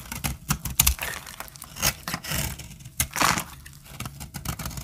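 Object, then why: Bar of soap scraped with a metal blade. A metal blade scrapes and cuts powdery flakes off a solid, dry cream soap bar held in the hand. The result is a run of dry, crackly scrapes and short crunching bursts with a bright, hissy edge and a little low-end thump, each dying away almost instantly.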